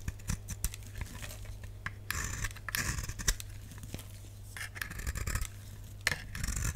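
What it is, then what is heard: Dry bar soap. A solid, dry lilac bar soap is held in the hand and scraped and cut with a utility knife blade. Sharp, dry scraping strokes and small crisp ticks come and go over a steady low hum. Several longer, brighter shaving passes stand out between them.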